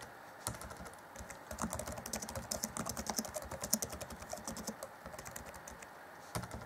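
Fingertips of both hands type on the black plastic chiclet keys of an Acer Chromebook C20 (2014) laptop keyboard. The result is a steady stream of quick, light, bright clicks with a very short decay, pausing briefly at the start and again near the end before a final few taps.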